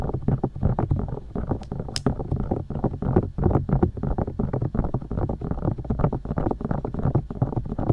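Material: Silicone.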